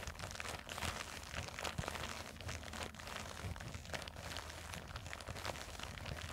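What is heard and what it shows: Long nails scratch and squeeze a small black printed nylon zippered cosmetic pouch resting on a table. The result is a steady, continuous stream of crinkling and crunchy scratching with bright, grainy detail over a low, dull rumble.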